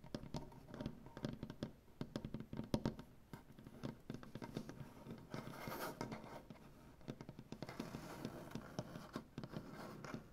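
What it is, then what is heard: Solid wooden butcher-block tabletop. Both hands tap and scratch a large, solid, light wood butcher-block tabletop with medium-length dark-painted nails and fingertips. Quick, dry, close-up taps with a warm, low-mid body and almost no ring alternate with stretches of soft, continuous scratching and rubbing, which fill the second half of the clip.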